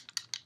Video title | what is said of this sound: Sephora Haul End of Summer | whenever you have to shake it it kind of sounds like you're shaking up a can of spray paint